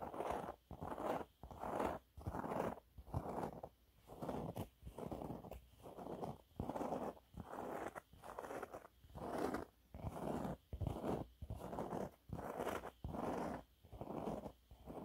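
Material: Fabric.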